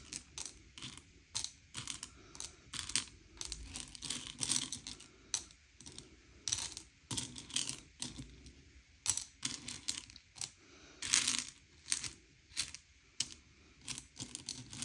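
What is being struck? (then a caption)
Sugar-shelled chocolate candies on a plate. Fingertips slide and push a pile of small, hard, sugar-shelled M&M's candy-coated chocolates around a grey plate, sorting them by colour. The result is a steady run of bright, dry clicks and clattering rattles as the candies knock against each other and the plate, with short, quick-fading bursts and quiet pauses between pushes.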